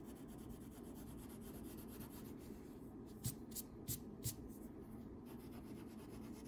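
A yellow wax crayon scribbles back and forth across a thin paper coloring sheet lying flat on a table, steadied by the other hand. A soft, continuous waxy rubbing fills the clip. Midway it is broken by four brief, brighter scratchy strokes that stand out from the steady scribbling.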